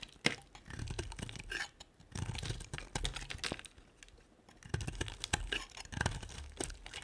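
A utility knife scrapes and carves a solid, dry white rectangular bar of soap. It makes crisp, crackling, crunchy scraping sounds in three bursts, with quieter pauses between them. Sharp, bright snaps cut through a low rumbling scrape.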